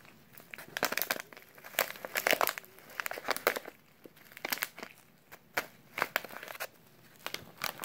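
A small, filled brown kraft paper instant oatmeal pouch is turned over and crinkled by latex-gloved fingers. The result is a run of dry, papery crinkles and crackles, with sharp bursts reaching into bright highs and quieter rustling between them.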